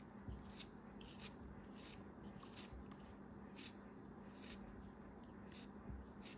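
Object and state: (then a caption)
Kinetic sand block being cut. A craft knife cuts repeatedly through a solid chunk of purple kinetic sand held in the fingers. Each slice gives a soft, crisp, bright crunching scrape over a steady low hum. The level stays quiet and even throughout.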